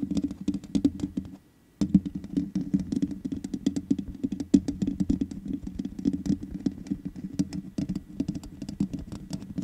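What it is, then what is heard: Metal mesh microphone grille. Long nails tap quickly on the hollow metal mesh head of a black microphone, making a dense run of crisp, clicky taps with a boomy low-mid body and bright ticks on top. The tapping stops briefly just before the two-second mark, then continues steadily to the end.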